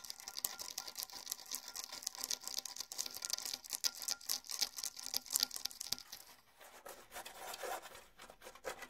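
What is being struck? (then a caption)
Rawhide bongo drum heads. A pair of small rawhide bongo drums, pale hide heads over hollow shells, has both heads scratched with fingertips and nails. The result is a dense, bright, dry rasping of quick overlapping strokes with almost no low end, easing to a softer, sparser scratching in the last few seconds.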